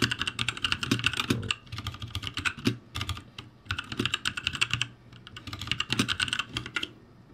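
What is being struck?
Mechanical keyboard with plastic keycaps.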